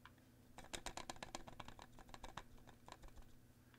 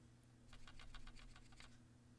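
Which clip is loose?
The first.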